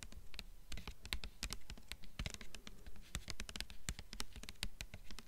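Long nails tap quickly on the front cover of a blue hardcover book with a glossy paper dust jacket, mixed with some scratching. The result is a fast, uneven patter of crisp clicks with bright tops and a soft, low thump under each tap.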